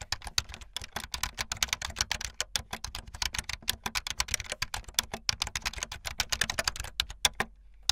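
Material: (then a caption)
Plastic. Fingertips with long light-blue nails type fast on a full-size keyboard with white, blue and yellow plastic keycaps and a blue backlit frame. A rapid, steady stream of short, bright plastic clicks and clacks, each dying away almost instantly, runs for the whole clip with only brief pauses. A low hum sits underneath, and the typing stops shortly before the end.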